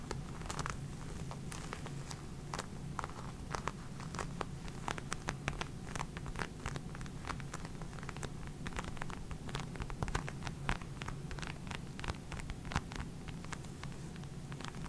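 Long red nails tap and scratch the surface of a small, flat black leather case held in both hands close to the microphone. A steady stream of quick, sharp clicks and scratchy rustles rides over a soft, low, muffled hum, with brief bright ticks throughout.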